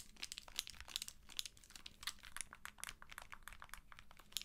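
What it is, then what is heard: Handheld game console in plastic case. Long acrylic nails tap and scratch along the side edge and vents of a white and blue handheld game console in a hard plastic protective case, held close. Quick, dense, bright plastic clicks and crinkly scratches sound, each dying away almost at once over a faint low hum.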